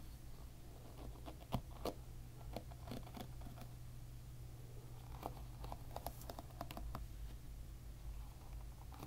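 A plastic-pin hairbrush lies bristles-up while fingers rapidly strum its plastic pins, producing dense, short, dry clicks that come in scattered bursts. A steady low hum sits underneath throughout.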